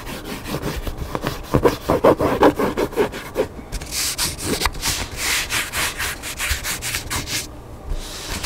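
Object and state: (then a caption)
Hardcover book being scratched. Fingertips and nails scratch across the top cover and page edges of a large hardcover cookbook lying flat with its black spine facing forward. Quick, uneven strokes make a dry, rasping rub, fuller and lower at first, then turning into a brighter, hissing scrape partway through.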